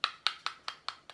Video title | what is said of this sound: Recette de tomates séché 🍅🍅🍅🍅 | C'est quand même bien sec.